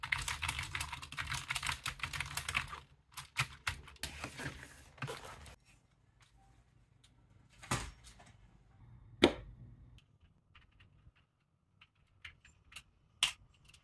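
Gloved fingertips type on a restored old Japanese Apple keyboard, a full-size unit with a translucent plastic case and dark plastic keycaps. A dense run of quick, bright plastic key clicks lasts about five seconds. Sparse, separate taps follow, with a few louder, deeper key strikes standing out.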